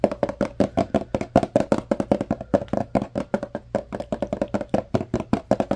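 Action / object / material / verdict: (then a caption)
tap / tall paperboard box / paperboard / none. Fingertips tap and knock on the faces of a tall yellow Arm & Hammer carpet-powder paperboard box in a rapid, uneven run of dozens of dry, hollow taps. Each tap has a papery bright edge and a boxy tone near 580 Hz, and dies away almost instantly.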